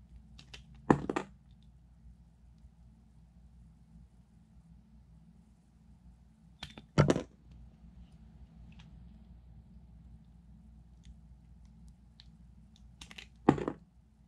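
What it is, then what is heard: Glycerin soap bar being sliced. A small knife shaves and cuts thin slices off a hand-sized, solid, light green glycerin soap bar with a textured side, held in one hand. Three short, crisp scraping cuts with bright, crackly edges stand out, spaced several seconds apart over a steady low hum.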